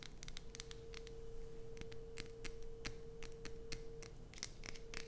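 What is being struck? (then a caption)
Bar of soap. Long nails scratch and tap a solid light-blue bar of soap resting on a dark sheet, then keep going as the bar is lifted. Quick, crisp, bright clicks and scrapes repeat rapidly over a steady faint hum and low rumble.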